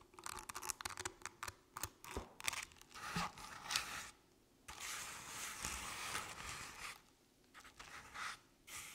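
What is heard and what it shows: Long painted nails scratch across the ribbed, crinkled orange paper covering a medium artificial jack-o'-lantern with a felt face. The result is a series of dry, bright scraping and rustling strokes, with short crackly bursts broken by brief pauses and a longer steady scratch in the middle.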